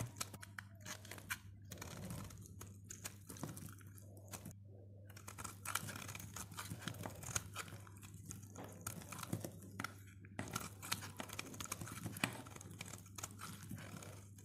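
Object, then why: Bar of soap cut with a blade. A utility blade cuts and shaves long slivers from a solid, dry teal soap bar held in the hand. Rapid, crisp crunching and scraping strokes with bright edges run throughout the clip, over a faint, steady low hum. Each stroke is short and dies away almost at once.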